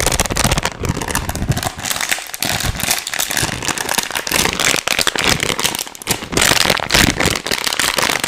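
A thin, hand-sized, hollow and empty clear plastic wrapper or bag is held in both hands and crinkled with the fingertips close to the mic. It makes fast, dense, bright crackling that runs almost continuously for about eight seconds, with only brief dips in loudness.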